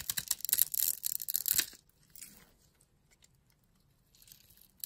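A utility blade cuts a grid pattern into the end of a solid pink bar of soap held in the hand and shaves off small cubes. It makes a dense run of bright, crisp scraping and crackling for about two seconds. Then come faint scattered scratches and a soft, high rustle near the end.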